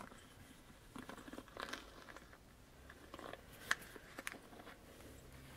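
Fingertips and nails tap the hollow back of a black plastic paddle hairbrush held close and scratch across its bristles. Quiet, crackly scratching mixes with soft, dry plastic taps, with one sharper click near the middle.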